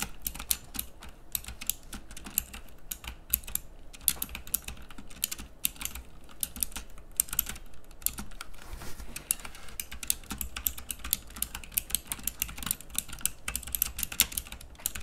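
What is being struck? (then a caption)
Plastic mechanical keyboard. Both hands type steadily on a pink plastic mechanical keyboard with round keycaps, giving a fast, continuous run of short, bright clicks with very little ring. A low, steady hum sits beneath the clatter throughout.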